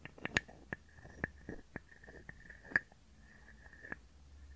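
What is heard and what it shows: A small hollow carved wooden frog guiro is scraped and tapped with a wooden stick. About ten short, hollow wooden clicks carry a faint ringing tone around 1.7 kHz, with soft, quiet scraping between them.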